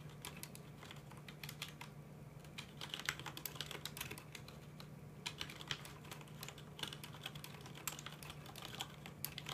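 Fingertips of both hands tap steadily on a full-size black plastic mechanical computer keyboard with red keycaps. The sharp, bright clicks patter quickly and decay almost instantly over a faint, steady low hum.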